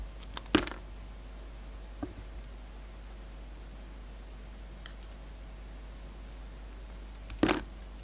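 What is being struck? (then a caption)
Bar of soap cut with a knife blade. A utility knife blade slices through a solid, hand-sized, pink translucent bar of soap with a red coating. Two sharp, bright crackling cuts stand out at the start and near the end, with a fainter tick in between. A steady low hum and quiet background fill the pauses.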